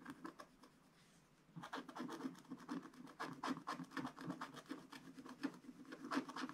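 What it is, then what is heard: Scratch-art paper being scratched. A wooden stylus scratches small areas of a black-coated scratch-art card page in a spiral book. A few faint scratches open the clip, then after a brief quiet pause come quick, uneven bursts of short, dry scratching strokes with a soft low-mid body and a raspy bright edge.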